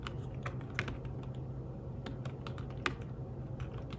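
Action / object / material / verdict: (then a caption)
tap / fabric-covered tablet keyboard / fabric / none. Fingertips tap the keys of a thin fabric-covered tablet keyboard case while typing, producing soft, short, muffled clicks in an irregular rhythm. A steady low hum sits underneath, and a couple of taps stand out a little louder and brighter than the rest.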